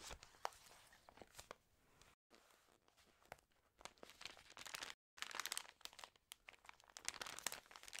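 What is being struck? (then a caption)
Paper magazine pages. Fingertips with long green-painted nails riffle, flip and crinkle the water-damaged paper pages of a thick Trends news magazine lying flat. Dry, bright rustles and sharp crackling snaps come in bursts, broken by two brief silent gaps.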